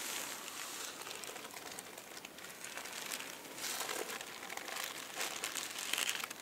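Fingertips with dark-painted nails scratch and rub across a stack of flat, thin purple and pink tissue paper sheets lying on a table. The result is continuous soft, bright crinkling and rustling, with slightly louder crackly bursts toward the end.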